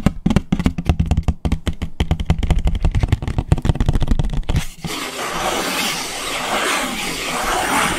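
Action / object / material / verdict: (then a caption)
scrape / paper plate / paper / none. A white paper plate, held upside down, is worked on its underside with fingernails: quick, dense, hollow-sounding taps for the first few seconds, then a continuous bright scratching rasp to the end.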